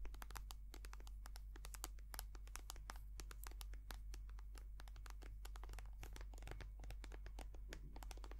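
A white soft plastic cream tube is tapped and scratched with long nails close to the mic. A dense, rapid run of sharp, bright clicks and crinkly scratches continues throughout over a steady low hum.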